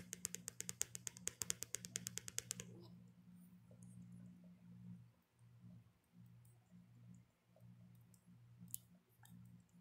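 Long nails tap rapidly on the back of a handheld smartphone in a black hard plastic case, making a quick run of sharp, bright clicks for the first few seconds. The tapping then stops, leaving a steady low hum with a single faint click later on.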